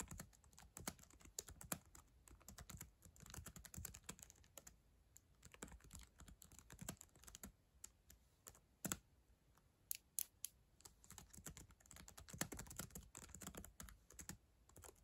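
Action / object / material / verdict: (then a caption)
tap / plastic laptop keyboard typed on with fingertips and nails / plastic / none. Long acrylic nails and fingertips type continuously on the plastic chiclet keyboard of a black ThinkPad laptop. A dense stream of quick, bright clicks and taps mixes with softer, duller key thumps, each dying away almost instantly. A few sharper nail clacks stand out over the quiet, steady typing.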